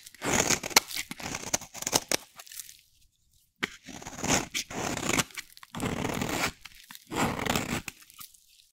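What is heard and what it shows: A solid, dry, rectangular yellow soap bar held in the hand is shaved into fine curls with a metal utility blade. Each stroke gives a dry, bright, crunchy scraping and tearing sound with no ring, separated by brief silent pauses.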